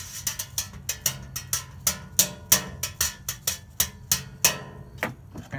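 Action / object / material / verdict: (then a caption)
strike / metal baking sheet struck with a plastic stick / sheet metal / none. A worn rectangular metal baking sheet, held upright, is struck with an orange plastic stick in an uneven rhythm of taps and knocks. About 18 bright, clanging hits ring briefly with a high metallic shimmer and little low end.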